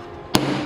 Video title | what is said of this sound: 把一捲紙放入沸水中煮一煮，作用太神奇了，很多人都還不明白，看完漲知識了 ，The Amazing Effect of Boiling Paper: You’ll Be Surprised ! | ハンマーかレンチを用意して、乾いた接着剤の塊を持ち上げてハンマーで強く叩くと、くぐもった音が聞こえます。接着ブロックの表面に亀裂はなく、エッジも破損していません。